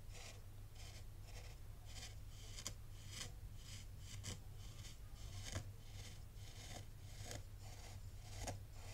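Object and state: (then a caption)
Fine sand raked in a tray. A black rake is dragged and rubbed in circular strokes through fine, loose white sand in a white tray. Soft, crisp, scratchy rasps swell and fade with each stroke, with bright grainy hiss over a steady low hum. The sound stays quiet and even throughout.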